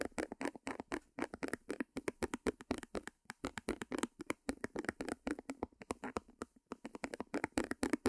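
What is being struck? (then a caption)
Small stretched canvas. Long nails tap rapidly on a small white stretched canvas held upright. About fifty quick, dry taps come in an uneven flurry, each with a hollow papery thump centered in the low mids (around 290 Hz) and a slight bright edge. Each tap dies away almost at once.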